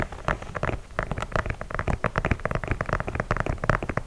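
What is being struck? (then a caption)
Leather sneaker upper. Fingertips and nails tap and scratch the leather upper of an empty white leather low-top sneaker in Air Force 1 style, with laces, held up close to the mic. The result is a rapid, irregular run of dull, bass-heavy taps mixed with soft scratchy rasps, each dying away almost instantly.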